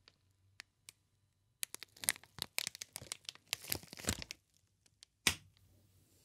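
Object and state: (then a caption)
Plastic air cushion packaging sheet. Fingers bend and crinkle a green, inflated plastic air-cushion packaging sheet. A few sparse, sharp clicks give way to a dense burst of bright crackling and crinkling, then quieter pops and one final loud crackle that fades out.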